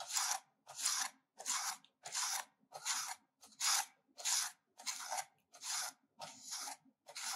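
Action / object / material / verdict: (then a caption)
scrape / bar of soap on a metal hand grater / soap / none. A solid oval pink soap bar is held in the hand and grated with a metal hand grater in steady scraping strokes. Eleven separate bright, hissing rasps repeat at a regular pace, each lasting about half a second with short silent gaps between them.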